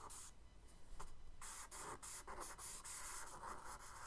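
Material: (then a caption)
Paper. A charcoal stick held in the fingers scratches wave strokes across the lower left of a tan kraft paper sketchbook page. Short, dry, scratchy rasps come in quick bursts, each with a bright, hissy edge over a faint low rumble. The strokes stay quiet and close, stopping dead with no ring after each one.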